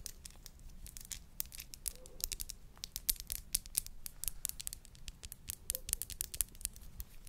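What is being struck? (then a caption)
Glass bud vase. Long nails tap and scratch a tall, narrow, hollow clear glass bud vase with a dark base. The result is quiet, rapid, uneven sharp clicks and scratchy rasps with bright, crisp tops that die away almost instantly, over a low background rumble. A faint brief tone around 500 Hz surfaces near 2 and 5.8 seconds.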